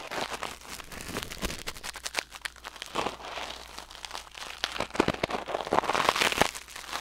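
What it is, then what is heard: Silicone ear microphone scraped with tweezers. Metal tweezers held in the fingers scrape and pick inside the ear canal of a white silicone ear mounted on a black binaural microphone. The result is a dense run of dry, crinkling crackles and sharp clicks with short bright peaks and almost no low end, growing busier and louder toward the end.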